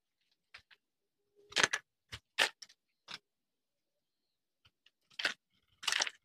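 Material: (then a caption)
Soap. A hand-sized bar of dry soap, green outside and blue inside, held in one hand and scraped and carved with a small metal knife blade, its flakes falling onto a concrete surface. Short, dry, bright scraping crunches come in separate bursts, with brief quiet gaps between them.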